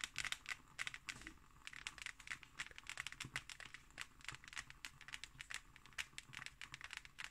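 Fingernails scratch and tap the textured surface of a closed hardcover book with an embossed cover. The result is a quiet, steady stream of bright, crisp scratching and dry clicking taps that die away almost instantly.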